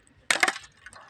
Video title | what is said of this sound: #เตาเผาถ่านบ้านๆเตาสองเปิดครั้งแรก | รุ่นเคาะเอาครับเคาะนี่ดังปิ๊งๆเลยนะ